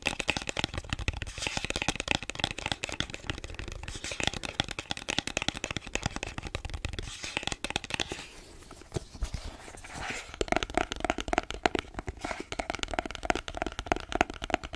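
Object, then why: Small cardboard phone box. A small, hollow, closed white printed cardboard smartphone box is held close to the microphone and scratched and tapped with fingertips and short nails. The result is a dense stream of quick, dry scratches and crisp taps with a bright, crackly texture and a hollow papery body. The sound thins to softer rubbing for a couple of seconds midway, then returns to brisk tapping with a faint mid-pitched ring.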